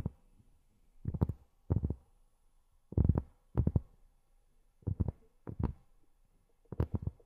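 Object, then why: Cork surface. Long fingernails tap on cork in short, irregular clusters of quick taps separated by quiet pauses. Each tap is a soft, dull, low-pitched knock with almost no ring.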